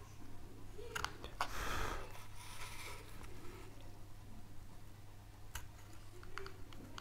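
A wooden-handled carving knife cuts and scrapes a small, solid, light-colored wooden board, basswood-like, carved with an oak leaf in relief, held flat on a table by gloved hands. Quiet, crisp knife clicks and short bright scrapes sound over a steady low hum, with a louder, grainy scraping stroke near the two-second mark.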